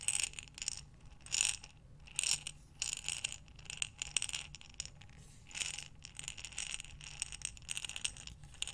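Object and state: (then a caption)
Glass jar of buttons. A glass mason jar with a metal lid, full of buttons, is turned in both hands with long dark nails, making the buttons tumble inside. Bright, crisp clinks and rattles come in uneven bursts with short quiet pauses between them, each click dying away almost instantly.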